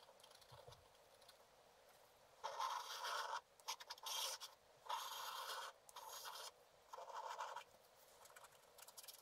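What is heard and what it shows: A wooden stylus scratches across a black-coated scratch art card lying flat, scratching out a picture of water lilies on a pond. Quiet faint scratching gives way to several longer, bright, raspy scraping strokes separated by short pauses, with almost no low end.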